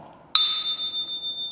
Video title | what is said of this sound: 요요 수업 신청했더니 50만 원짜리 요요 가지고 직접 찾아온 이유 / 도와줘요 종기쌤 11화 시식크 요요기술 도전 | 音がすごく深くて長く聞こえます